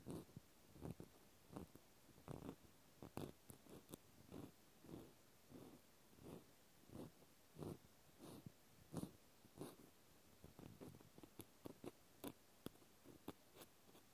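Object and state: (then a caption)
Plastic clothespin. A small white plastic clothespin with a metal spring is held in the hand and scratched and poked with a cotton swab. Soft, quiet, irregular bursts of dry scratching and light tapping repeat throughout, each short and fading quickly.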